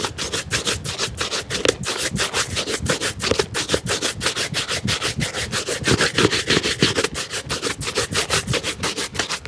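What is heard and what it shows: A black leather dress shoe is held in hand and rubbed briskly with a wooden-backed bristle shoe brush, polishing strokes running along the upper. Rapid, fairly steady back-and-forth swishes, about three per second, give a bright, dry brushing sound with short, crisp attacks and no ring.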